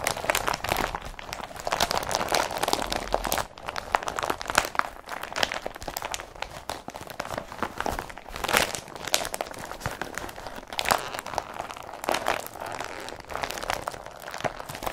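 Fingers press and rub an empty blue IKEA BRATTBY carrier bag made of woven polypropylene, close up. Continuous dry crinkling and crunching plastic rustles with bright, crisp bursts run throughout, with short louder crackles near the start, middle and end.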